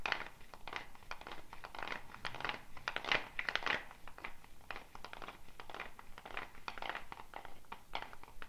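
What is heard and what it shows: A hollow dried gourd shaker wrapped in a wooden bead net is held up and shaken or twisted, so the beads rattle against the shell. The result is a steady run of dense, crisp rattling bursts, bright and papery, that swell and ease without stopping over the whole clip.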